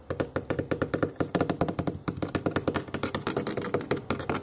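Fingernails tap and scratch the pebbled, black molded foam armrest of a solid child booster seat resting on a wooden table. About 33 quick, dull taps come in a fast, uneven rhythm, each dying away almost at once with a soft, muffled, low-mid thud near 324 Hz. Light scratchy texture sits between the taps.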